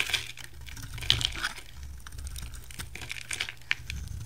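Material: Soap.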